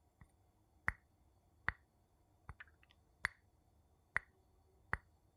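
A wooden spoon taps on glass with six sharp, evenly spaced taps, plus a few fainter small clicks between them. Each tap is a bright, dry click with a clear tone around 2 kHz that dies away almost instantly, set against a quiet background.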